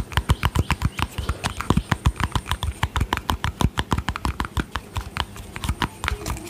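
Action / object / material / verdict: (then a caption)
tap / small plastic cosmetic tub with screw lid / plastic / none. Long painted fingernails tap and scratch a small round white plastic cosmetic tub with a yellow screw lid, hollow with contents not visible. A steady run of quick, dry taps sounds, each a hollow low thump with a bright click on top, dying away almost at once. Faint scratching fills the gaps between taps.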